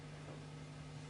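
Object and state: Nothing is struck.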